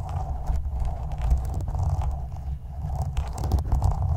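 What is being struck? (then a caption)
Metal mesh microphone grille scraped with a plastic spoon. A small translucent plastic spoon held in the fingertips is scraped and rubbed across the black woven metal mesh grille of a condenser microphone's hollow dome. It makes a steady, heavy low rumble with a scratchy, crackling texture and a faint mid-range hiss that rises and falls with the strokes.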